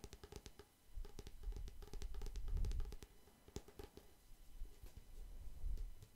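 A thin, flat, glossy printed cardboard photo sleeve with no hollow is held in one hand and tapped with fingertips and nails. The result is a quick, uneven run of soft, dull taps with a low, thumpy body, interspersed with sharper, brighter clicks from the nails. The taps cluster into louder busy stretches and quieter gaps, and each one dies away almost at once.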